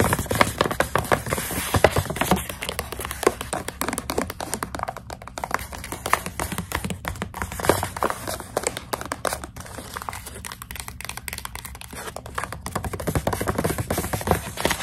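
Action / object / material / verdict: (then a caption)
tap / plastic snack pouch filled with dried coconut strips / plastic / none. Long acrylic nails tap rapidly on the front of a full plastic snack pouch of dried coconut strips. The sound is a dense, steady stream of short, crisp clicks with a crinkly plastic edge, easing slightly midway before picking up again.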